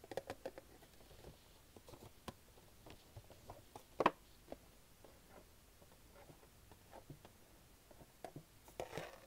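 A small, hollow Funko Pop collectible box made of printed cardboard, with a plastic window and the toy inside, is turned in the hands and tapped with long nails and fingertips. The result is a quiet series of short, dry taps and light scratchy clicks with almost no ring. The sharpest tap comes near the middle, and a brief rustling cluster follows at the end.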